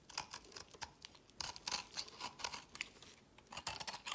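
A worn, pale green solid soap piece is held in the fingers and scraped into crumbly flakes with a utility knife blade. Quick, dry, crisp scraping strokes come in irregular bursts, bright and airy with almost no low end. Each stroke dies away almost instantly at a quiet level.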